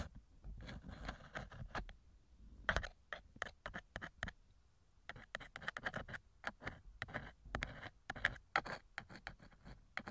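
A thin metal ear pick scrapes inside the right silicone ear cover of a TASCAM microphone, making many small, close scratching strokes. The short, dry scrapes come in quick clusters with a brief quiet pause in the middle.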